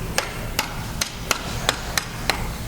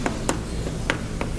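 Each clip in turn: First: compacted dig-site dirt knocks much like bone. Second: hollow unfossilized mammoth bone.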